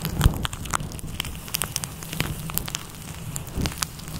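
Red-nailed fingertips scratch and squeeze a fluffy grey-white faux fur microphone windscreen in a massaging motion. The result is a dense, crackling rustle over a heavy low rumble, scattered with sharp bright clicks and pops.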